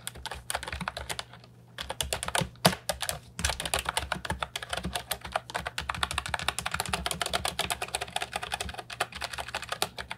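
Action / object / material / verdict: tap / plastic mechanical keyboard with round keycaps / plastic / none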